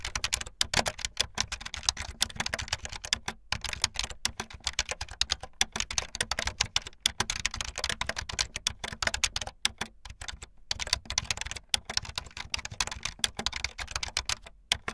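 Fingertips with long light-blue nails type fast on a full-size keyboard with white, blue and yellow plastic keycaps and a blue backlit frame. A dense, continuous stream of bright, sharp plastic clacks follows, each snapping off almost instantly, over a faint low hum.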